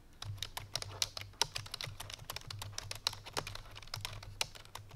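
Fingertips with long painted nails rapidly press the keys of a full-size black plastic computer keyboard resting on a white fur rug. The result is fast, bright, clicky typing taps over a low steady hum.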